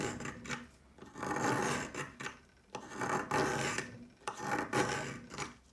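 A plastic peeler with a metal blade scrapes lengthwise along a solid pale yellow chalk stick again and again, making dry, gritty rasping strokes that swell and fade. Chalk flakes pile up around the stick.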